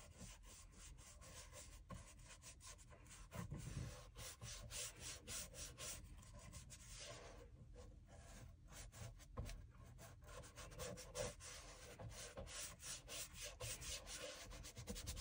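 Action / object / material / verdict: scrape / leather shoe outsole / leather / none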